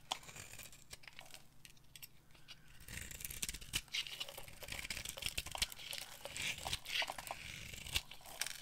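A hand with long nails holds a hand-sized bar of solid, dry, pale green soap with a black outer coating while a metal knife blade carves and scrapes it, cutting off crumbly dry flakes. The sound is a dense run of crisp, bright scraping, crunching and crackling with short sharp snaps. It is softer for the first three seconds, then grows louder and fuller as the cutting continues.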